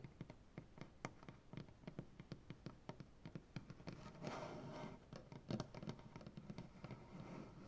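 Long painted nails on both hands scratch along the grain of a large solid maple butcher block tabletop. Quiet, woody clicks and short scratches come in a quick, uneven run, with a longer rasping scrape around the middle. The sound is soft and close, weighted toward low-mid tones with little high-end.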